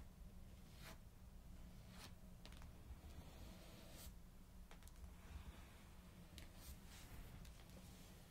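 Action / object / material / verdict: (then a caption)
tap / paperback book with card cover / paper / none. Long pink acrylic nails tap and scratch the glossy card front cover of a thick paperback copy of Harry Potter and the Order of the Phoenix, then the book is lifted to show the back cover. Quiet, crisp clicks and dry scratches flick across the highs over a steady low hum.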